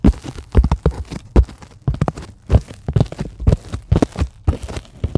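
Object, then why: Polyethylene foam sheet tapped and scratched with long nails. Long glittery acrylic nails scratch and tap a flat, solid white sheet of closed-cell polyethylene foam. The result is a quick, irregular run of soft, dull thuds and brushing scratches. The sound is mostly low and muffled, and each tap dies away almost at once.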